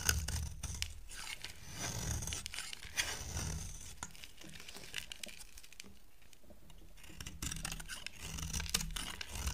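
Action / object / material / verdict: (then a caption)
scrape / bar of soap cut with a blade / soap / none. A utility knife blade scrapes and carves a solid, dry, oval white soap bar into curls. Brisk, uneven shaving strokes give a bright, papery scraping hiss over low thuds, and they grow softer and sparser in the middle before picking up again.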